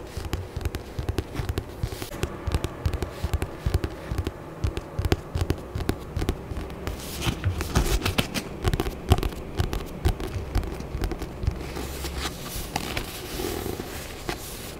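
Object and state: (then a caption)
Paperback book tapped and scratched. A thick paperback book with a green and purple glossy cover, held in both hands, is tapped and scratched with long nails. It gives a dense run of quick, dry taps with a low, thumpy body over a constant soft scratching rustle.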